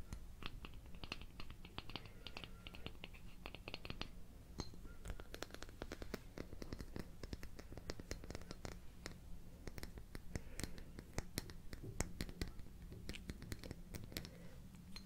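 Long painted nails tap and scratch the glass of a flat bottle with a cork-topped stopper, full of amber liquid and held in one hand. Quick, dense clicks and short scratching strokes come close together over a steady low hum, each tap dying away almost instantly.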